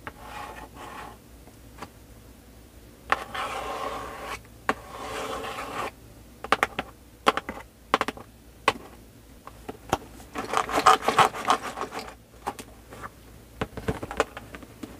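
Long nails tap and scratch the surface and edges of a full, sealed cardboard LEGO Star Wars 501st Legion set 75280 box, held on a table with its back side showing. Sharp, dry taps come in an irregular run, broken by longer papery scratching and rubbing passages. The result is a crisp, mid-to-bright scraping texture with very little low end.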